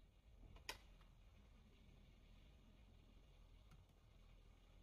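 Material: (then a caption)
Plastic. Fingertips of one hand slowly press and tap the keys of a full-size black plastic computer keyboard. One sharp, bright click stands out near the start, followed by a few faint soft ticks over a quiet, low background hum.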